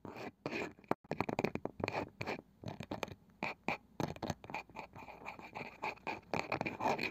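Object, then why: Wooden object. A wooden object is tapped and scratched, slowly, quickly and in rhythmic runs, with no talking. Short dry taps and brief scraping strokes come in clusters separated by near-silent gaps, with little ring after each hit and a bright, broadband scratchy texture.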